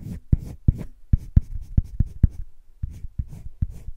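A hand-held colored pencil rubs dense shading strokes across flat cream drawing paper in a wire-bound spiral sketchbook. Twelve short, dull scratching strokes are heard, heavy in low tones with a faint airy hiss above. The strokes come in a quick, uneven rhythm with brief pauses between them.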